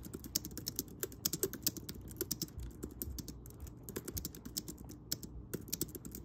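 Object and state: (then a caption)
Plastic keyboard being typed on. Fingertips of both hands type steadily on a pink plastic Logi wireless keyboard with round keys resting on a fuzzy blanket. The result is a dense, continuous run of short, crisp key taps with bright clicky tops and a soft low thud beneath each press.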